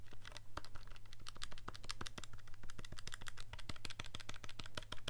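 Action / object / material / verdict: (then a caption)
tap / plastic calculator keys / plastic / none. An index fingertip taps and clicks the keys of a handheld black plastic scientific calculator with a hollow casing, held in one hand. A quick, steady run of short, bright plastic clicks plays over a constant low hum, each click dying away almost at once.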